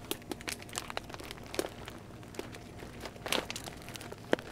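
A small, glossy yellow plastic Pedigree puppy food bag, 3.5 lb and full of kibble, is held in both hands and squeezed with fingertips and nails. Dense, quiet crinkles and crackles follow one another in quick, irregular bursts, with a few sharper, brighter snaps standing out.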